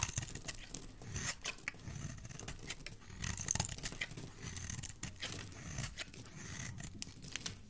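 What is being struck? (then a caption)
Bar of soap shaved with a blade. A utility knife blade shaves a solid white oval bar of soap, held in a hand with dark painted nails, peeling off white curls. The steady stream of short, dry scraping strokes carries a crisp, crackly high edge over a soft low rumble, with no ring after each stroke.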